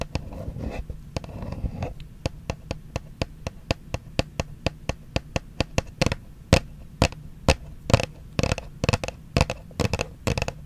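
Long acrylic nails scratch and tap on a small, hollow, white printed Versace cardboard perfume box held upright close to the microphone. A brief low, rustling scratch gives way to a steady series of crisp, dry taps with a hollow low thud. Toward the end the taps grow louder and come in quicker clusters, each cut off with almost no ring.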